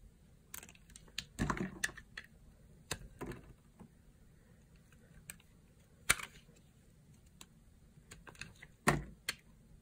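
A solid, dry, pale yellow bar of soap is held in the palm and sliced and carved with a small blade. Crisp, dry crunching and scraping cuts come at irregular intervals, some short and sharp and others longer and grainy, over a quiet background.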